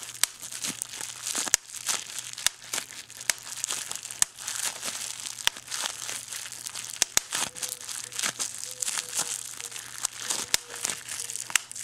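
Fingertips crinkle and pull at a small clear plastic bubble wrap pouch with a boxed product inside. Bright, dense crinkling runs throughout, punctuated by sharp clicks and snaps over a faint low steady hum.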